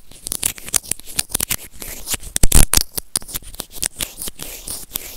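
White plastic serrated tweezers grip and scratch a small hollow white plastic earphone remote and microphone. The result is a rapid series of short, dry, bright scratchy clicks over a low thumping body, with a louder rough burst about halfway through.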